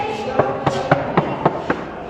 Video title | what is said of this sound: शाहजहां का किला कैसे बना है आप सब लोग देखिए | साफ साफ आवाज आ रही है